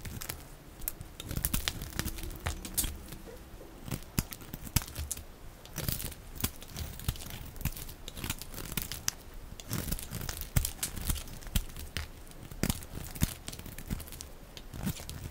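A snap-off utility knife blade shaves and scrapes curls from a solid, hand-sized rectangular bar of dry pink soap held in one hand. Dense, crisp scratching and cutting sounds come in quick bursts, with sharp bright crackles over a low, muffled body.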